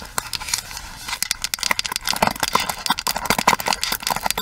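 Long nails tap the hollow plastic handle of a pink plastic paddle hairbrush, then the side rim of the brush head. The result is a rapid run of short, dry, bright clicks with a hollow plastic tone and almost no ring.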